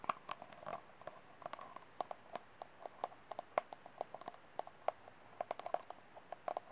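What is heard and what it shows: Fingernails tap and scratch the wall and rim of an empty, hollow white disposable plastic cup with its open end shown. About 34 quiet, dry clicks sound with a hollow tone near 630 Hz, mixed with brief scratchy rustles, and each tap dies away almost instantly.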